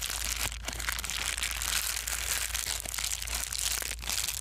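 A small white foam bubble-wrap-like plastic sheet is folded, squeezed and crumpled by hand. It gives a steady, dense, bright crinkling and crackling that runs through the whole clip without pause, over a faint low hum.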